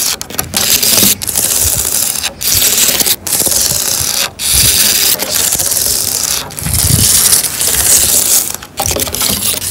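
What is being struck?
Wooden bench slats.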